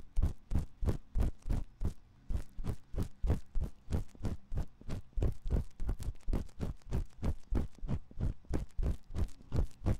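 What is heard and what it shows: A thin metal ear pick scratches inside the canal of a white silicone ear on a 3Dio binaural microphone. Steady scraping strokes, about three per second, come through as dull, muffled thumps that stay deep and low. Each stroke stops almost instantly, with no bright edge or ring.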